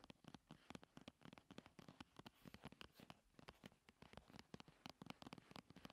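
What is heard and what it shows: Long nails rapidly tap and scratch a hollow, slim paperboard primer box as it is held and rolled on a table. The result is a quick, dry patter of short, sharp clicks over a soft scratching rustle, with no ring after each tap.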